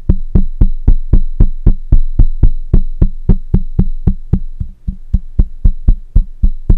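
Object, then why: Metal mesh microphone head. Fingertips of one hand tap the side of a black microphone's hollow metal mesh head in a quick, fairly steady rhythm. About 26 deep, boomy thumps with very short decay are heard, with a brief gap near the middle, over a faint, steady high tone.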